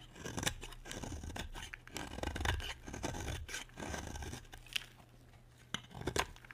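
A utility knife scrapes and shaves the edge of a solid, peach-coloured bar of dry soap. Dry, crisp scraping bursts with bright, crunchy edges come in uneven strokes, separated by brief near-silent pauses, with a few sharper clicks toward the end.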